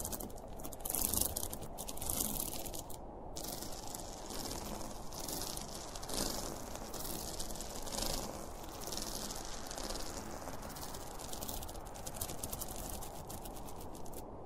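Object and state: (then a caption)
Fabric pencil case being scratched. Fingernails scratch along the top and zipper edge of a closed, hollow zippered school pencil case made of polyester fabric with a printed cartoon panel. The result is a steady, dense, bright rasping scratch over a soft low rumble, swelling slightly in bursts throughout.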